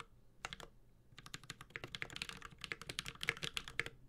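Fingertips of both hands type continuously on a Space65 Cybervoyager 65% mechanical keyboard with an aluminum case, ABS keycaps and Holy Panda switches. After a quiet start, about 25 short, bright clacks centred around 2 kHz come in quick, uneven bursts. Each one dies away almost instantly.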